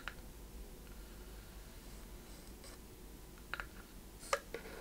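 A small wooden chest-shaped box with a metal clasp and corner fittings, closed and held in both hands, is tapped and scratched with long red-painted nails on its wooden sides and lid. A few short, dry taps and faint scratches sit over a quiet, low background hiss, with the loudest taps near the end.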